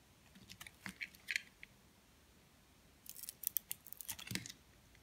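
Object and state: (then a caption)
Soap bar scraped with a blade. A metal blade scrapes the pink-tinted outer layer off a solid white soap bar held in the hand. The result is two quiet bursts of short, bright scratching and crackling ticks, with a brief pause between them and almost no low end.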